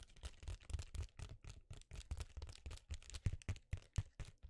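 Fingertips and nails scratch and crinkle the surface of an empty, flat, thin silver foil bubble-insulated mailer envelope held in both hands. The result is a quiet, steady stream of short, dry crinkling bursts at roughly four per second, with a soft low thump under each one.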